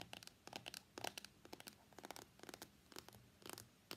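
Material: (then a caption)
Cardboard. Fingertips and nails tap and scratch the top and sides of a small, hollow, closed white cardboard iPhone X box held on a mat. About sixteen light, dry taps and bright scratchy rasps come in quick irregular bursts, each dying away almost instantly.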